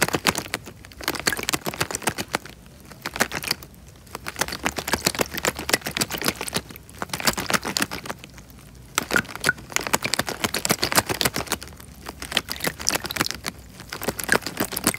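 Fingers press and crinkle a small clear plastic bag filled with water close to the microphone. Dense, bright crackling and crinkling comes in bursts separated by short quieter pauses, with little low end.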